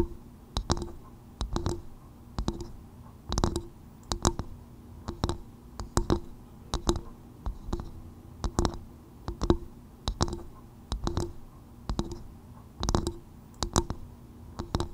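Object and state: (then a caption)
Coconut shell bowl tapped with fingernails. Long nails tap the outer shell of a small, hollow, empty polished brown coconut-shell bowl turned upside down over a fur-covered microphone. Quick bursts of dry, hollow clicks with a low, woody tone come in uneven clusters, each tap dying away almost instantly.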